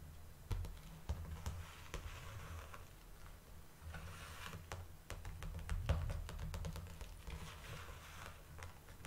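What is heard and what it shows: Long dark nails tap on the flat back side of a large clear plastic clamshell blister pack, over the label area. Quiet, irregular, sharp clicky taps with bright ticks sit over a steady low hum, each tap fading quickly.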